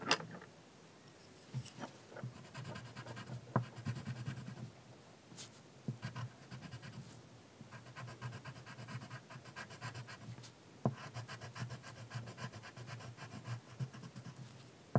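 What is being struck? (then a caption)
Colored pencil rubbed on a paper sheet on a wooden table. A pink wooden colored pencil held in the fingers is rubbed and scratched across a large sheet of thin, solid white drawing paper lying flat on a wooden table to shade a fairy's dress. Quiet, papery scratching strokes come in bursts over a low, soft rubbing body, with a few sharper ticks where the pencil presses or lifts.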